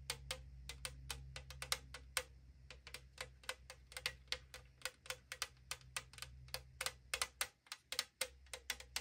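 Long acrylic nails tap rapidly on the side of a tall AriZona aluminum drink can held in hand, making about forty sharp, bright, dry clicks in an uneven rhythm. Each click dies almost instantly over a steady low hum.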